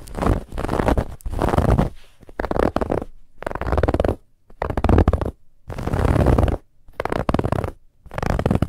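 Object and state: Textured fabric pillow being scratched.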